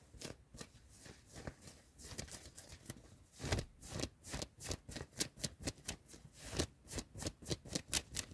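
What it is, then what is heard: Cotton hoodie fabric being scratched. A worn yellow cotton hoodie in a car is scratched and rubbed with fingertips and nails, first on the sleeve and then on the chest. Soft, dry fabric scratching and rustling starts faint and irregular, then becomes a fast series of distinct, bright scratch strokes that cut off sharply.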